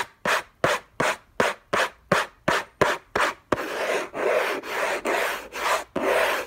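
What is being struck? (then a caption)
Paper-covered cardboard box. Fingertips and short nails scratch the lid of a closed, long rectangular orange Hermès cardboard box covered in textured paper, lying on a fluffy blanket. Fourteen dry, raspy strokes are heard: they start as short, evenly spaced bursts, then turn into longer, denser rubs that nearly run together. The sound is bright and papery, with little low end.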